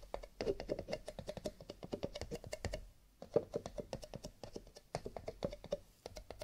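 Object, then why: Cardboard paper cups. Fingertips tap rapidly on cardboard paper cups, with a little light scratching. The result is a quick, dry, clicky patter like typing, centered low-mid around 465 Hz with short taps that die away almost instantly, pausing briefly near the third and fifth seconds.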